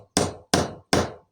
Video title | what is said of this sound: 140. Making DOUBLE Glazing from 2 pieces of GLASS and a GLUE Gun! | tap it until you can hear the change in the note for the tap and that is really nice and tight in there